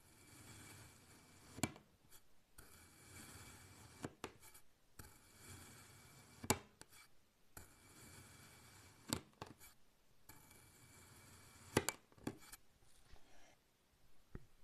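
A black kitchen knife slices a solid block of pink kinetic sand into thin layers, making its final cuts through the sand and then withdrawing. Quiet, grainy hissing scrapes swell and fade with each stroke, punctuated by sharp, brief clicks as the blade meets and leaves the sand.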